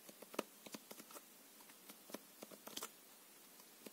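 A full deck of plastic-coated paper playing cards is held in the hands while the card edges are riffled, flicked and squared with the fingertips and nails. Quiet, irregular clicks and soft papery snaps sit over a faint hiss, each tick dry and bright with no ring.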